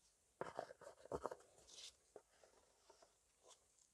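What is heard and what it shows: A medium-sized blue plastic trigger spray bottle of car cleaner, appearing full, is held in both hands and tapped and scratched with nitrile-gloved fingertips. About nine quiet, dry, irregular taps with no ring are heard, with a brief hissy scratch in the middle.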